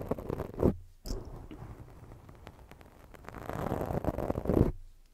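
Long jeweled fake nails scratch across a black foam microphone windscreen, making soft, dense, low scratching and rubbing noise. The sound swells to louder bursts near the start and end, with a brief gap of silence around the first second.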